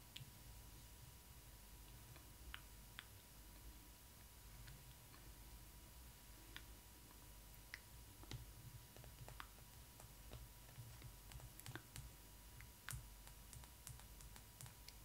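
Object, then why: Vinyl doll head. Long red nails and fingertips tap and scratch the smooth face and cheeks around the eyes of a large Disney ILY 4ever Stitch collector doll, lying on its back with its synthetic hair spread around its hollow molded plastic/vinyl head. About twenty quiet, sharp, bright clicks with soft scratching sounds are scattered across a faint, steady low hum and a thin constant tone.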